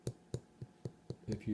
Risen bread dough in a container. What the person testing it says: a little hollow or something so it seems about ready